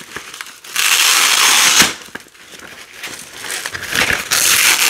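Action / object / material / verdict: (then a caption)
scrape / nylon hook-and-loop strip / nylon / none. Orange and yellow nylon hook-and-loop strips are peeled apart by hand with long nails, then laid out and pressed back together. A long, loud, bright crackling rip is followed by quieter scratchy crinkles and small clicks. It ends in another sustained tearing rip.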